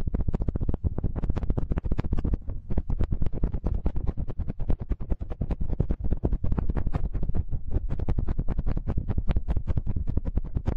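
Fingertips of both hands rub and scratch the two small cylindrical metal X/Y microphone capsules of a TASCAM handheld recorder. The result is a dense, continuous stream of rapid scratchy bursts with heavy, boomy low-end thumps and faint bright edges, each burst very short and dry.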